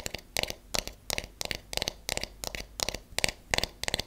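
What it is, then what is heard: Wooden hairbrush back, solid. Long nails tap the flat back of a solid wooden paddle hairbrush in quick, uneven bursts of clicky taps. Each tap is bright and dry with almost no ring, leaving brief quiet gaps between the clusters.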